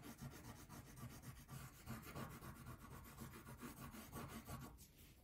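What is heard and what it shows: A blue wax crayon is rubbed back and forth over a thin paper coloring page lying flat on a table, filling in the background near the top edge. The result is a quiet, steady run of soft, scratchy rubbing strokes with a dull, low-heavy texture and a faint papery rasp.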